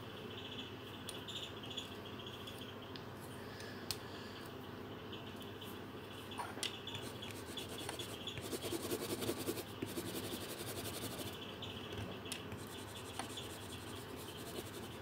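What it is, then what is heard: Felt-tip marker colouring on paper. A pink felt-tip marker held in the fingertips is rubbed over a thin paper colouring sheet on a table while colouring. Soft, continuous scratchy strokes sound quietly throughout, with occasional small ticks. The rubbing grows slightly denser and louder around the middle before settling back to a steady quiet scratch.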